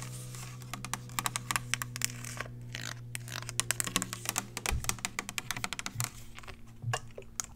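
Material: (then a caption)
Plastic. A hand-sized, hollow clear plastic spray bottle with a black trigger sprayer, which appears empty, is tapped with long acrylic nails. Rapid, sharp, bright clicks and taps come in quick bursts, with very short decay. A steady low hum runs underneath.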